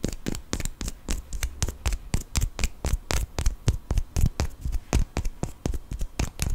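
A small solid cork wine stopper is held upright and rolled while fingernails scratch and tap it. The result is a quick, uneven run of short, dry taps and scrapes, each with a bright scratchy edge over a dull low thump, dying away almost instantly.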